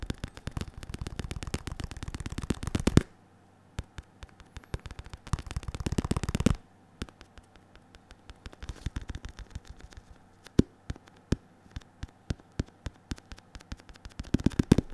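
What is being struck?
Padded synthetic leather focus mitt.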